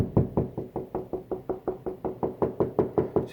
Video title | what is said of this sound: How to use a stud finder Ep. 8 | it sounds hollow over here